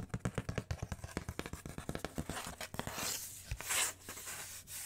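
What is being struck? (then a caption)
Corrugated cardboard sheet. Long nails scratch and rub a large, flat, brown corrugated cardboard sheet with cut circular holes, held up close to the mic. A rapid run of short, dry scratches with a low thud in each gives way to a steadier, bright, hissing rub across the cardboard.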